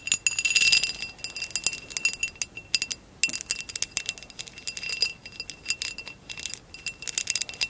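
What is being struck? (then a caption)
Textured glass vase. Long acrylic nails tap and scratch a hollow amber glass vase with a woven relief pattern, lying on its side. A rapid, uneven stream of bright, clinking taps and scratchy strokes comes with a faint steady ring near 2.7 kHz. Each tap dies away almost instantly, with no low-end body.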